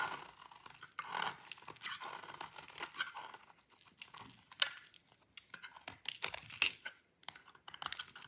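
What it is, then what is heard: Dry bar soap being shaved. A metal utility blade cuts and shaves a thin, solid piece of dry cream-white bar soap, leaving crumbly flakes. The result is a quick, uneven series of crisp, crunchy scrapes and dry snapping crackles, bright and high with almost no low end, each one stopping short with no ring.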